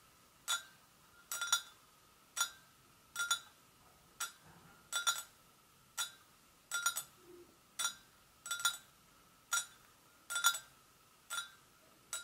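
A porcelain gravy boat is tapped gently with the fingers, giving short, bright clinks with a faint ringing tone around 1.4 kHz. The taps come at an uneven pace, sometimes as quick doubles, separated by quiet pauses.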